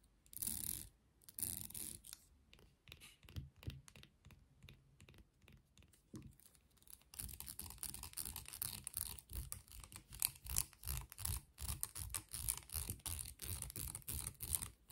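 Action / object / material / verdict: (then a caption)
scrape / plastic comb / plastic / none. Long nails scratch and strum the teeth of a solid beige plastic comb with a long handle, making quiet, crisp ticking and rasping. A few sparse bursts and light clicks come first, then after about seven seconds the strumming turns into a denser, steadier stream of bright scratchy flicks.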